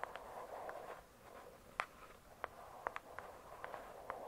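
Long pointed acrylic nails tap on the glossy paper-covered cardboard cover of a thick, solid hardcover book lying flat, heard close up. About ten short, crisp clicks with a mid-range tone and almost no ring sit over a soft, quiet rustling texture.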